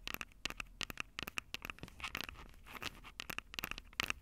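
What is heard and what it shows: Long acrylic nails tap the capsules of a Tascam DR-05 handheld recorder, with its plastic body and metal mic grilles, in a quick pattering rhythm. The sound is a run of short, dry, bright clicks with scratchy taps and a few soft scraping passes between them. Each click stops almost at once, with no ring.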